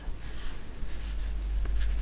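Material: Nothing is struck.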